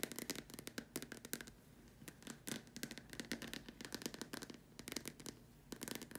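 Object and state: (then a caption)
Plastic lamp shade. Long dark nails tap and scratch the upper surface of a large, hollow, white plastic dome lamp shade. Quick, dry, bright clicks come in uneven bursts with short quiet gaps, over a soft scratching hiss. Each tap dies away almost at once, with a light, hollow body.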